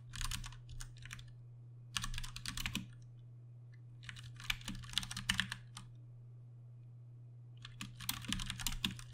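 A compact 60% Ducky One 2 Mini mechanical keyboard with plastic keycaps and Cherry MX Brown switches is typed on with the fingertips of both hands. Bursts of bright, fast clicking keystrokes come in several bunches separated by pauses, over a steady low hum.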